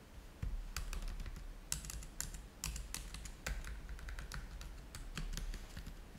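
Fingertips type on the keys of a black plastic laptop keyboard, making a rapid run of short, bright clicks and taps. A steady low hum sits underneath throughout.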